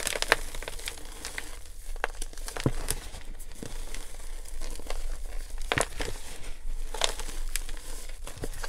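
Both bare hands dig into loose, dry, pink glittery gym chalk (magnesium carbonate) powder filling a clear plastic tub, scooping and squeezing handfuls to crush and crumble it. A steady, soft crinkling and crunching plays throughout, with scattered brighter crackles and crisp snaps standing out against a low rumble.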